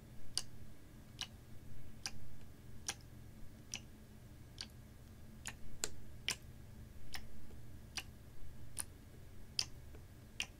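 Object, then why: Plastic water bottle partly filled with water. A clear plastic water bottle with a white cap, hollow and partly filled with water, is held in both hands, tilted, shaken and gently squeezed while fingertips and nails tap the ridged plastic. About fourteen short, bright, dry clicks land at a steady, clock-like pace over a constant low hum.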